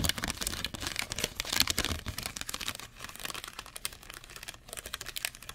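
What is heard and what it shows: A torn piece of thin, clear molded plastic cookie tray, ridged, hollow and empty, is held in both hands near the mic and crumpled and crinkled with fingertips and short nails. It makes a dense, continuous stream of bright, sharp crackles and snaps with little low end. The crackling eases slightly in the middle before picking up again at the end.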